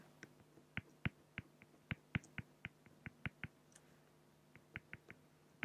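A fine-tip pen makes short, scratchy drawing strokes on a flat, solid acrylic glass (plexiglass) sheet. About 19 quick, dry ticks come at an uneven pace, each bright and clicky with almost no ring. They sit over a quiet, steady low hum.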